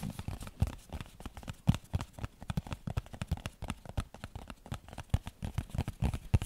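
A small, hollow printed cardboard tea box is rapidly tapped and scratched with nails and fingertips, producing a dense stream of soft, dull knocks and light scratchy crackles. The hits are mostly low and muffled, with faint bright scraping between them.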